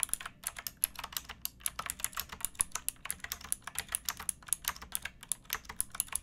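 Fingertips with painted nails type on a pink backlit plastic mechanical keyboard with round keycaps and a hollow case, resting on a wooden box. A steady run of about 43 quick, bright, clacky keystrokes sounds, each one short and dry with very little low end.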